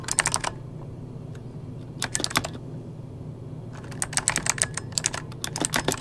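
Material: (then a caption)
Plastic. Fingertips of both hands tap slowly on a full-size backlit mechanical computer keyboard with plastic keycaps. Short, bright, clicky keystrokes come in three bursts: a quick run at the start, a brief cluster near the two-second mark, and a longer, denser stretch toward the end. A steady low hum runs underneath the pauses.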